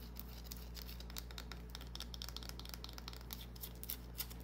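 A small, solid green bar of soap held in the palm is scratched with long, dark-painted nails. It makes quiet, rapid, crisp scratching and light ticking sounds with bright, short transients over a steady low hum.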